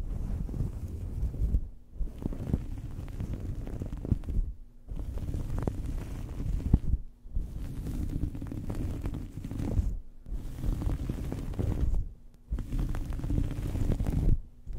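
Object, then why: Cloth towel over a microphone. A small fabric towel draped over a microphone is scratched and rubbed with the fingernails of both hands. The result is a dense, muffled, low rumbling scratch with crackly texture, coming in six bursts separated by brief silent pauses.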